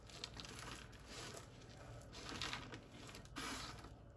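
Fingertips and palms press, crush and rub a heart-shaped pile of crumbled, dry, white-ivory bar soap flakes on a wooden surface, then spread the pile flat by hand. The sound is a continuous dry crinkling and crunching with bright, gritty texture and brief louder surges as the pieces are crushed.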